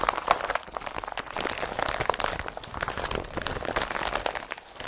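An empty blue IKEA BRATTBY woven polypropylene carrier bag is balled up and crumpled between both hands, with fingertips pressing into the folds. The result is a steady, dense run of crisp crinkling and crunching with quick, brittle snaps. Its tone centers in the mid range, with bright edges and little low end.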